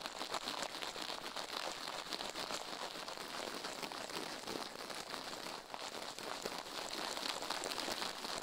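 Toothbrush bristles brush fast over the left silicone ear of a binaural microphone resting on a steel plate, while the other gloved hand rests still at the right edge. The result is a steady, dense, crackly scratching hiss, bright and thin with almost no low end, holding an even level throughout with a brief dip near the end.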